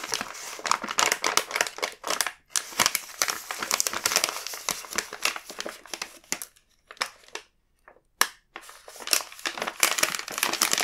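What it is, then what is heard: Plastic snack bag. A large, full, red plastic-film KitKat multipack bag is held and pressed by the fingertips, crinkling and crushing. Dense bursts of bright, crackly rustle run almost continuously, then thin out to a few short isolated crackles with near-silent gaps midway before the crinkling picks up again. The sound is crisp and high with no low end and almost no ring after each crackle.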